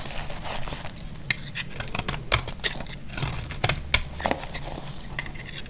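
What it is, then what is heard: Dry bar soap being scraped and cut. A utility knife blade scrapes and slices a solid, dry white bar of soap held in the hand. A steady run of dry, crisp scratching and crackling is punctuated by sharp, bright clicks and snaps as the blade cuts through. Each snap stops almost instantly with no ring.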